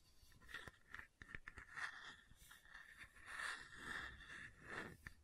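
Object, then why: Plastic water bottle with screw lid. Fingertips and nails tap and scratch the red screw lid of a hollow red plastic water bottle close to the microphone. Quiet, dry scraping runs alongside sharp little clicks, with a faint high, hollow ring around 1.8 kHz behind the taps.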